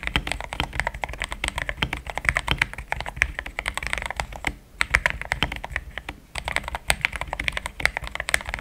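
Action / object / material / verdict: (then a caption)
tap / mechanical keyboard with plastic keycaps / plastic / none. Fingertips type in steady taps on a pink-framed compact mechanical keyboard with thick cream XDA plastic keycaps, a polycarbonate plate, linear switches and a hollow case. Rapid, bright clacks with a low thock beneath run continuously, with brief pauses near 4.6 and 6 seconds.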